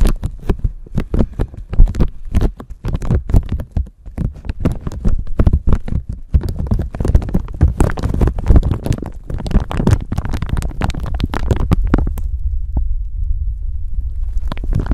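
A thin clear plastic bag stretched over a microphone is scratched and scrunched with long nails, producing dense, rapid crinkles and crackles with heavy low, thumpy handling noise from the microphone underneath. Near the end the crinkling stops, leaving only a low, muffled rumble with a few faint scratches.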